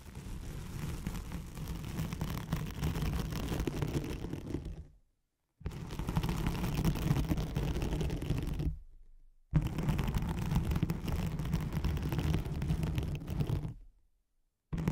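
Long nails scratch across a thin white hook-side nylon hook-and-loop velcro sheet laid over a microphone, making a dense, rough rasping heavy in the low end. Three sustained scratching passes of about four seconds each are separated by brief silences, and a fourth begins right at the end.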